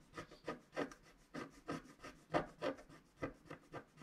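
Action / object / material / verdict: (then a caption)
scrape / wax-coated scratch-art paper scratched with a wooden stylus / waxed paper / none. A wooden stylus scratches the lower right of a flat scratch-art sheet of black wax-coated paper while the other hand steadies it. About eleven short, dry, raspy strokes come at an uneven pace, quiet and mid-toned, each fading almost at once.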